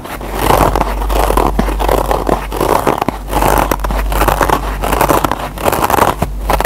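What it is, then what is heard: Nylon scour pad of a kitchen sponge. Short fingernails scratch and pick at the fibers of the green nylon scour pad on a single kitchen foam scrub sponge, close up. A continuous dry, rasping scrape swells and fades in waves with quick crackly snags, carried over a steady low hum.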